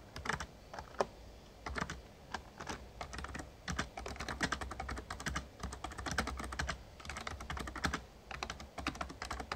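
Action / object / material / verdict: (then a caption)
tap / plastic membrane keyboard / plastic / none. Fingertips of both hands type rapid key taps on an RGB-backlit plastic Razer Ornata Chroma membrane gaming keyboard with a hollow casing. The result is a steady stream of short, dry clacks in uneven bursts, with brief pauses between them, over a faint low hum.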